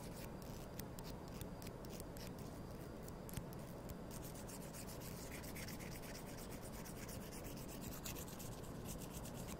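Thin, solid wooden toothpicks are held in both hands and rubbed and scraped against each other with fingertips and nails. A soft, steady rubbing hiss runs throughout at a low, even level, with many quick, bright scratchy ticks scattered through it.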